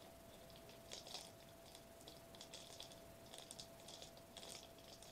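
A foil-laminated plastic bubble wrap sheet, held upright, is tapped and scratched quickly with the fingertips on its foil bubbles. The result is quiet, bright, crinkly clicks and scratches in irregular bursts over a faint steady mid-pitched tone.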